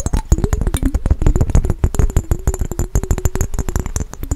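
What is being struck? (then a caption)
Glass mason jar with water. A small clear glass mason jar with a yellow lid band, partly filled with water, is held close and fast-tapped with fingernails on its glass sides. The rapid, dense run of sharp clicky taps has a bright edge and a low thump, over a faint ringing tone whose pitch wavers as the water shifts.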